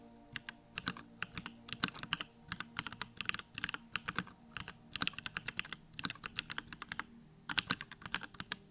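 Fingertips type rapidly on a small 65% Bakeneko65 mechanical keyboard with Durock lavender switches, a plastic case, white plastic keycaps and the backlight on. Quick bursts of crisp, bright clacks come with short pauses between runs, each keystroke snapping off almost at once with a clicky tone centered near 2.7 kHz.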